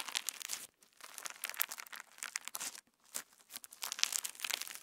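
A handful of pink translucent PVA slime packed with plastic star sequins is pinched, folded and squeezed with fingertips close to the mic. It gives dense, bright crackling and crinkling with sharp little pops, with a short pause just before 1 second and another near 3 seconds.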